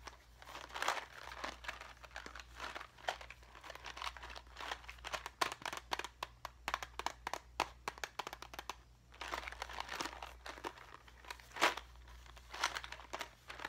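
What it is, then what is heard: Clear plastic box full of craft gems. A small clear plastic cube box with a barcode label, full of rhinestone craft gems, is handled with fingertips and nails. Dense, quiet crinkly clicks and sharp taps mix with the soft rattling of gems shifting inside, in bursts with short pauses. A faint steady low hum runs underneath throughout.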